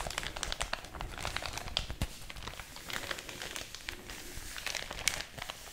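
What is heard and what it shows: An empty, thin white paper packaging bag is held and crinkled between fingers with long orange nails, flexed and rubbed close to the microphone. Dense, dry crackles and crisp crinkling fill the clip, bright and papery, with sharper snaps standing out near the two- and five-second marks.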